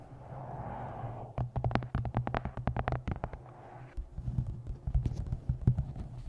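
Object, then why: Paperback book with glossy card cover. Long nails tap the glossy card cover and edges of a paperback book in quick, dry clicks. A soft rustling opening gives way to a run of rapid taps, a brief quieter pause, then a looser scatter of taps. A steady low hum sits beneath it all.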